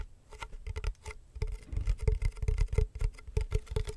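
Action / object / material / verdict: tap / wicker basket box with lid / wicker / none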